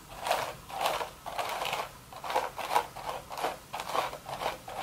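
Long red nails scratch the crown of a woven straw sun hat, with one hand lifting briefly. Repeated dry, crackly scratching strokes come in short bursts centered near 1 kHz with a bright, airy hiss on top. Brief quiet gaps fall between them, and there is almost no low end.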